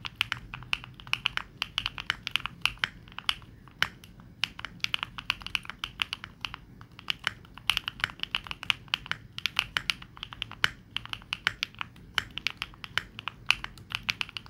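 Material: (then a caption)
Plastic. Fingertips type rapidly on a Neo65 65% mechanical keyboard with plastic keycaps, producing a steady stream of short, bright clacks centered around 2.5 kHz. Each key tap is crisp and dry with almost no ring, and there is very little low end beneath it.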